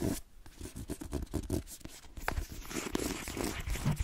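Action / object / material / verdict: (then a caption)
scrape / paperback book / paper / none. A cream paperback book marked "M", a solid block of paper, is held up and tapped rapidly with long nails on its cover, then scratched and gripped. The result is a dense run of soft, dull, low-heavy taps mixed with papery scratching.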